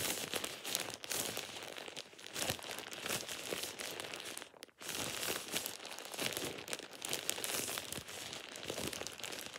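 A thin, hollow, empty plastic shower cap is held over a hand and crumpled by the fingers. It makes dense, continuous, bright crinkling and crackling, with one brief pause just before the five-second mark before the crinkling resumes.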